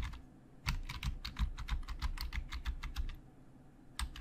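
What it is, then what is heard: Plastic computer keyboard being typed on. Fingertips type fast on the hollow plastic keys of a black plastic Logitech full-size keyboard, tapping the keys. A rapid, uneven run of short, dry clicks is heard, pausing briefly before two final taps near the end.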